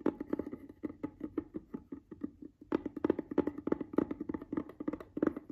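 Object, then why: Small rigid plastic case. A closed, hollow, palm-sized, cream-white rigid plastic skin care product case lying on a fabric bed cover is tapped and scratched with the fingertips and nails of one hand. Quick, dry, hollow knocks centered around 340 Hz come in a steady patter with light scratchy clicks. After a brief lull near the middle, the taps resume, slightly louder.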